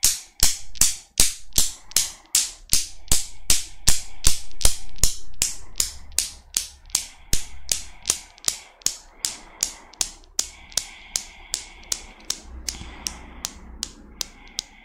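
Long black nails set a small desktop Newton's cradle swinging, its five solid chrome steel balls hung from a metal frame knocking together. About 39 sharp, bright metallic clicks come in a steady rhythm over a low hum, each ringing only briefly. The clicks grow louder over the first few seconds, then gradually fade.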